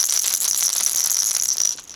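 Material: Plastic.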